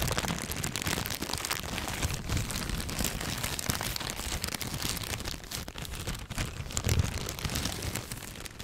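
A thin clear plastic bag with white contents is crumpled and rubbed with fingertips, giving a steady, dense crackling and crinkling that fills the range from a low rumble up to bright, sharp rustles. The texture stays fairly even throughout, with a brief louder swell near the seventh second before it eases slightly at the end.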